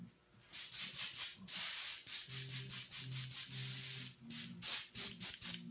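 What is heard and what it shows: A bottle of blue airbrush paint, thinned with extra reducer and with a rag held over its hole, is shaken in quick bursts. It makes a bright, hissing, liquid swish with a few longer continuous shakes between them. The sound shows the paint is now thin enough.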